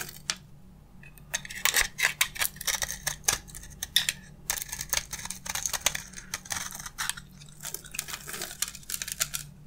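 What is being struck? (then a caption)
Bar of soap scraped with a blade. A box-cutter blade scrapes a solid, hand-sized dry bar of beige soap held in one hand, shaving off crunchy flakes. Many quick, dry, bright scraping crunches come in rapid bursts over a faint steady low hum, each stroke ending almost instantly.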